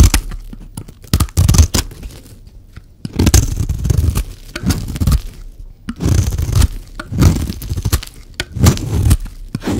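A metal blade scrapes across a dry, hand-sized oval bar of orange soap, shaving thin strands off its surface. The clip is a run of dense, low, crunchy scraping strokes with brief tearing bursts and short pauses between passes, and the sound dies away almost instantly after each stroke.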